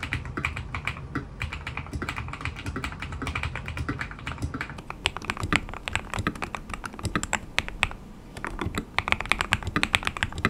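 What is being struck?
Mechanical keyboard with plastic keycaps.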